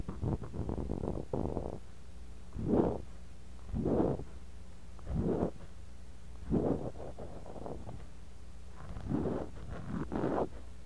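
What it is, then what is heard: Kinetic sand scraped in a glass cup. A bamboo ear pick scrapes and digs through kinetic sand in a clear glass cup, right beside a mini mic buried in the sand. It makes a series of soft, muffled, low scraping swells, a busier rustle at the start and then separate strokes every second or so. A faint steady low hum runs underneath throughout.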